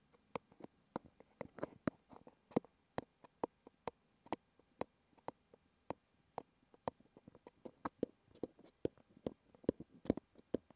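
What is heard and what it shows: Fingertips and short nails tap and scratch the front of a small, hollow, red printed cardboard box that holds 30 ml of liniment, possibly with a small bottle inside, as it rests on a wooden table. About thirty quiet, dry, hollow papery taps and clicks come at an uneven pace, each dying away at once, with faint scratching between them.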